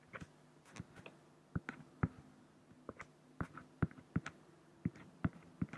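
A black fine-liner pen scratches dense hatching onto a large, flat, solid acrylic sheet. Short, dry strokes come in an irregular series, each a quick tap with a low, hollow thump near 160 Hz and a faint bright scratch. The strokes die away almost instantly, with quiet gaps between them.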